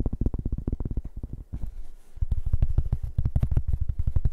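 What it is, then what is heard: Cork board tapped and scratched. A large, round, flat cork board, solid and thin, is held in the hands and tapped and scratched with fingertips and nails. Rapid, dull, low thumps patter in quick bursts, with a brief softer scratchy stretch in the middle before the tapping returns louder and denser. Each tap dies away almost instantly with no ring.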